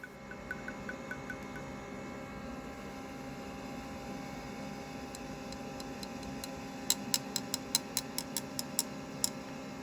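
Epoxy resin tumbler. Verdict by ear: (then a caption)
Cured. An epoxy resin tumbler, just taken out of a curing machine, is tapped repeatedly, giving crisp, high, clicky ticks over a faint steady hum. The sharp, hard taps show the resin is fully cured rather than tacky.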